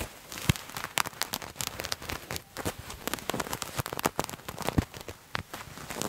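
Fingernails scratch a purple patterned fabric garment held in both hands close to the mic, producing a dense, crackling run of short, bright scratches and clicks. A few sharper snaps stand out above the steady rustle.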